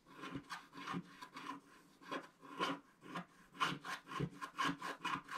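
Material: Wax coating.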